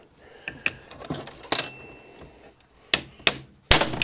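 A steel ball bearing is gently tapped into its metal housing on a tool post grinder using a socket and a hammer, giving seven short, bright metallic taps with very little ring. The last taps are louder and sharper as the tapping sound changes when the bearing reaches the bottom, showing it is fully seated, and it still turns nicely afterward.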